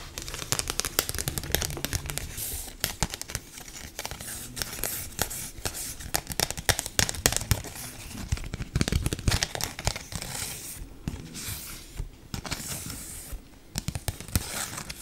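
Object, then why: Large dried leaf. A large, thin and brittle dry leaf is scratched, rubbed and lightly crinkled with long nails and fingertips. The result is a continuous stream of crisp, dry crackles and papery tearing-like rustles with bright, high edges over a soft low rumble. Short sharp bursts rise and fall throughout without any ringing.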